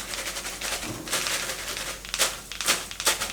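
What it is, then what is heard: Crispy fried chicken wings. Small pieces of fried battered chicken wings are set down to drain their oil, giving a rapid, uneven series of light, bright clattering and crackling hits. The crisp sound shows the wings are very crispy.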